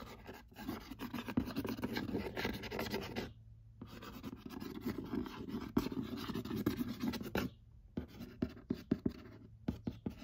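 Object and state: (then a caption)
Cardboard board game box. Fingertips and nails scratch across the glossy printed lid of a large, flat, hollow cardboard "Murder Mystery" board game box. Dense, papery scratching with a low-mid body comes in long strokes, broken by two brief near-silent pauses. It ends in shorter, sharper scrapes and ticks.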